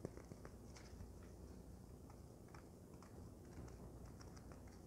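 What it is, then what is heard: Polyethylene foam packing sheet. A folded, soft, light white polyethylene foam packing sheet is held in one hand and scratched and tapped with long nails. Quiet, dry ticks and scratchy rustles sit over a low rumble, with brief bright clicks scattered throughout.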